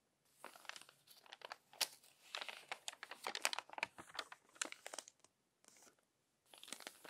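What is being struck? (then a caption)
Glossy paper magazine. Crinkly pages of a crumpled, glossy paper magazine are turned by hand, producing bright, dry crackles and rustles in dense bursts. The sound stops for brief silences near the end.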